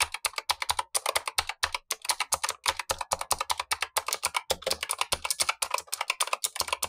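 Fingertips in blue gloves type steadily on the black plastic keycaps of a Razer Huntsman V2 with clicky switches, the lower of two keyboards. Rapid, crisp, bright clicks follow one another with almost no low end, each dying away almost instantly.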